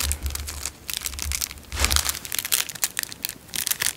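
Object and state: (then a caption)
Clear cellophane wrapper being crinkled. A narrow, clear cellophane wrapper is rolled and crushed between fingertips, producing a dense run of bright, crisp crinkles and sharp crackles. Soft low rumbles come and go beneath the crinkling, and the bursts swell and fade unevenly throughout.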